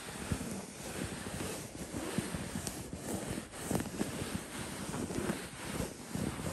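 Fingertips scratch the woven surface of a cream linen-weave printed throw pillow. The result is a continuous, dry, rustling scrape with many small bursts, weighted toward low frequencies and holding a steady level throughout.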